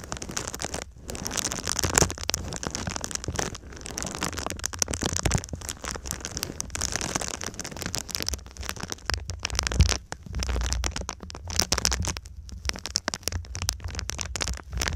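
A silver foil-faced foam insulation sheet is bent over the microphone while long nails scratch and tap across its foil surface. The result is a dense, continuous crackling and crinkling with a bright, hissy top and a low, muffled rumble underneath. Brief quiet gaps break up the steady scratching.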